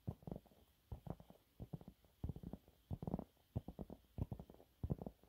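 Fingernails on both hands scratch fast across a thin, flat, yellow textured cellulose sponge cloth. Quick clusters of soft, dull, low scratchy rustles come in bursts separated by short pauses. Each scrape stops dead with no ring, and the sound stays quiet and muffled throughout.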